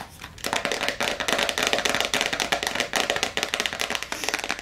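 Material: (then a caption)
Plastic. Long acrylic nails tap fast on the clear plastic screw lid and top of a medium clear plastic jar full of blue water beads. After a quiet start, a rapid, dense stream of bright, crisp plastic clicks follows, with a slight hollow ring to each tap that fades almost instantly.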